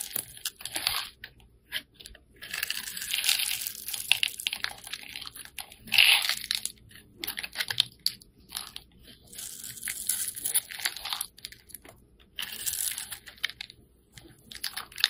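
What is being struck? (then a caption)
Soap bar cut with a metal blade. A metal blade scrapes and cuts a hand-held, solid green oval bar of soap that is dry and crumbly, slicing it into crumbly cubes. Bursts of bright, dry crunching and scraping come in uneven runs, separated by short quiet pauses. Each crunch is crisp and stops at once, with no low rumble beneath.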